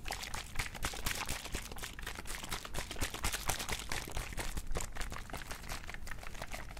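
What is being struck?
Small plastic mouthwash bottle with liquid.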